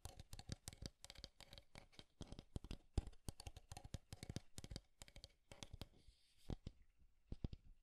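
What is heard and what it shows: Fingernails tap and scratch the wooden edges and sides of a small, square, light-wood desk alarm clock held up in the hand. Quick, dry, clicky taps come in rapid runs, each dying away almost instantly, with a faint scratchy rasp around the sixth second before a few last taps. The whole clip stays soft and close.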